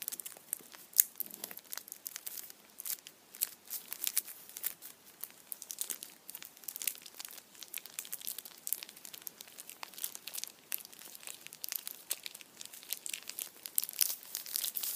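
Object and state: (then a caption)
Foil-wrapped chocolate bunny. A foil-wrapped Kinder chocolate Easter bunny in printed aluminium foil is tilted and held in the hands while the foil is squeezed and crinkled with the fingertips. The result is about fifteen seconds of quiet, steady, bright crinkling made of dense, sharp little crackles, with almost no low end.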